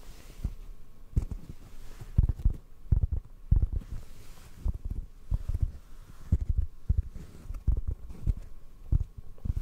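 A detached, palm-sized black foam microphone windscreen, hollow and soft, is held in the hands and tapped with the fingertips. It gives an irregular series of soft, deep, muffled thumps with almost no ring, close and low against a quiet background.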